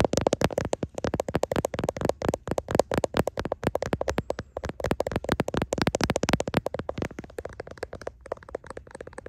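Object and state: Smartphone in plastic case, tapped and scratched.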